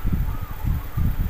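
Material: Nothing is struck.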